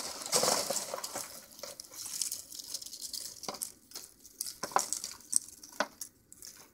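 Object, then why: Peanut shells. Fingers rub and crush through a pile of empty, hollow, dry peanut shell halves. The result is a dry, bright crinkling and crunching with scattered sharp, short cracks and almost no low end.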